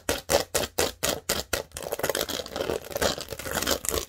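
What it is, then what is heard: Plastic studded baseplate scratched. Long nails scratch across the studs of a large, thin green plastic Lego baseplate. A quick run of separate, bright, rasping strokes turns into a denser, almost continuous gritty scraping. Each stroke is dry and clicky, dying away almost at once.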